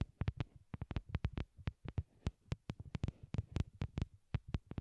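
Long glittery nails tap on a pair of small white hollow plastic wired Apple earbuds resting on a cork board, with the earbuds serving as the microphones. About 25 quick taps land in an irregular rhythm, each a dull, deep, throbbing thump with a brief bright click at the start. Every tap dies away almost instantly.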